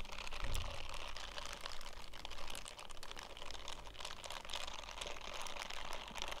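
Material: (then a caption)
Silicone. An empty purple silicone bristle scrubbing glove is held and squeezed in bare hands, then fingertips scratch across its bristled palm. The result is a dense run of quick, dry scratching and crinkling clicks with bright hiss over a low rumble.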